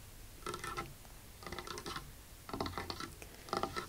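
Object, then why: Wooden tabletop. Long acrylic nails tap and scratch quickly across a large, solid, dark polished wooden tabletop. Four short bursts of rapid clicking and scraping come about a second apart, with quiet pauses in between.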